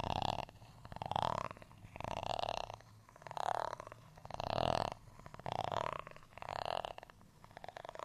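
A black tool scratches across the ribbed surface of a flat, solid, textured beige plastic rice paddle. Seven separate raspy strokes are heard at a steady, unhurried pace, each a dry, gritty scrape centred in the mid range with a faint bright edge. Short quiet gaps fall between them.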